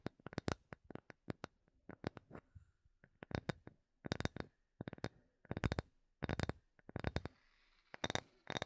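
A small, solid, light wooden block held in both hands is tapped with long nails and fingertips. Quick, dry taps come in rapid bursts separated by short pauses, each one a sharp click with a bright edge over a soft low knock. The taps die away almost instantly and are heard up close.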